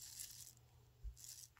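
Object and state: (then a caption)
Wool pants failing crunch test. Charcoal gray wool pull-on pants are squeezed and rubbed close to the mic in a crunch test, giving a dry, high-pitched crunching rustle over a low background hum. The crunch indicates damaged wool, and the pants fail the test as a no-go to be re-donated.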